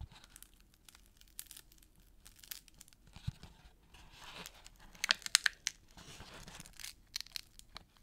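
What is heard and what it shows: Fingers and thumbs rub, press and scratch the red paper-covered rims and plain brown cardboard inner surface of an empty small gift box lid. The result is a quiet, irregular run of dry, bright scratching and crinkling rustles, with a burst of sharper scrapes about midway through.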